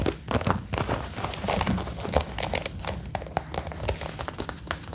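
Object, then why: Faux leather jacket. Fingertips and nails tap and scratch the shoulder and chest panels of a dark brown faux leather jacket being worn, its material soft and thin. Rapid, closely spaced taps mix with crinkly, crackling scratches, giving bright, dry transients over a steady low rumble. The hits are short and die away almost at once.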